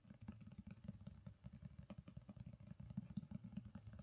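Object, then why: Hardcover book with cloth or board cover. Long pink nails tap and scratch the cover and top edge of a black, gold-foiled hardcover book resting on a carpet. The result is a rapid, steady run of dull, muffled taps with almost no ring, heavy in low tones around 200 Hz, under a faint rough scratching.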